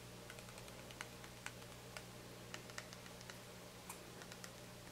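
A small white plastic shampoo bottle with a black cap, held in the hand, is tapped and scratched by fingernails on the cap and body. Light, bright clicks and ticks sound over a steady low hum, with about a dozen distinct sharper taps standing out.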